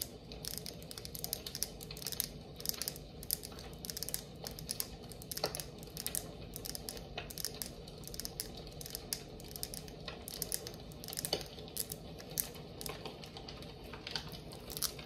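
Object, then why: Glass candle jar with lid, tapped and scratched with fingernails. Long acrylic nails tap and scratch around the body and lid rim of a red glass jar candle. Rapid, dense, bright clicks and scratchy crackles run steadily throughout, each tap dying away almost instantly, over a faint low hum.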